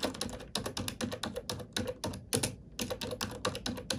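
Fingertips and nails type on a black plastic computer keyboard, producing a steady run of quick, bright plastic clicks and taps. The keystrokes come in bursts separated by brief pauses, with each click dying away almost at once.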